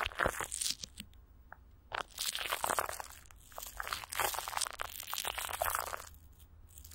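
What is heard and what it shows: Fingers rub and squeeze clear plastic wrap with Vaseline stretched over a hollow microphone grille, then a palm presses down on the top. Bursts of bright, sticky crinkling and crunching come in uneven waves, separated by brief quiet gaps with a faint low hum beneath.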